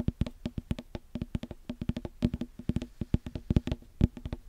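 A small, solid, full whole green watermelon is tapped and knocked with fingertips and knuckles right next to the mic in a rapid, uneven rhythm of about thirty hits. Each strike is a short, dull, low thud that dies away almost instantly.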